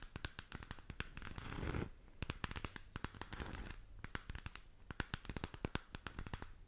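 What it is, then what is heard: Plastic sphere lamp. Long nails tap and scratch rapidly on a hollow plastic galaxy moon lamp gripped with both hands. The result is dense, sharp, dry clicks mixed with a low hollow thump and bursts of rough scratching that swell and fade.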